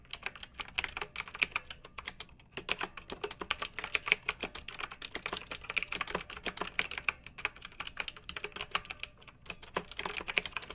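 Long-nailed fingertips type steadily on a pink mechanical keyboard with round retro plastic keycaps and blue backlight, resting on a fluffy rug. The result is a rapid stream of bright, dry plastic clacks with no ring, with brief pauses near 2.5 and 9 seconds.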